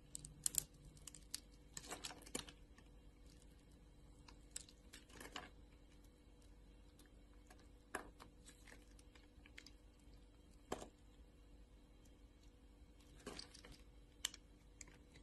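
A craft knife blade scrapes and cuts scored cubes off the surface of a solid, translucent orange glycerin soap bar held in hand. Quiet, sparse, crisp bright clicks and short scraping bursts sound over a faint steady low hum. Each snap dies away almost instantly.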